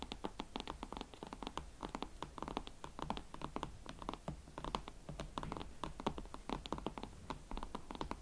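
Long nails scratch and tap rapidly on the heels of a pair of hot pink Valentino Club Platform leather boots, held from behind. Dense, close, dry clicks and scratchy rasps overlap quietly over a faint low rumble, each tap dying out almost at once.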